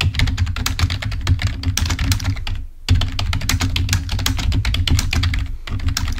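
A full-size black plastic Microsoft membrane keyboard, wired and lying on a white table, is typed on rapidly with the fingertips of both hands. Dense, fast key clicks with a heavy low thump run continuously, with a brief pause near the middle before the typing resumes.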